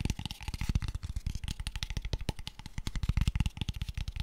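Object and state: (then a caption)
Wooden box. A small, light-coloured hollow wooden box with open ends is held in the hands and tapped quickly with fingertips and nails. The result is a fast, continuous run of short, dry, hollow knocks with a deep thumpy body. Faint bright clicks ride on top, and each tap dies away almost at once.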